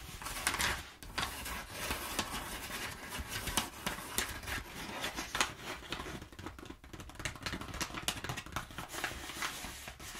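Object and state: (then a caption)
Crumpled kraft paper. Fingertips and nails rub and scratch crumpled brown kraft packing paper at the edge of a table. The result is a steady, dense crinkling rustle broken by quick, sharp, bright scratchy crackles that stop almost instantly.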